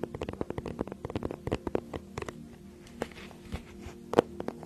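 Long nails tap and scratch the front of a flat, rigid teal faux-leather tablet case held in both hands behind the mic. Quick, dry clicks and soft scratching patter unevenly over a low steady hum, with a few sharper taps standing out near the end.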